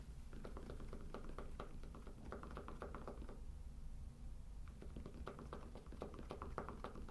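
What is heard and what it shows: Short fingernails tap and scratch the top surface of a round, solid cork trivet held flat. The sound is a quick, irregular run of dull, soft taps over a steady low rumble, each tap dying away almost at once, with a brief quieter scratching stretch in the middle.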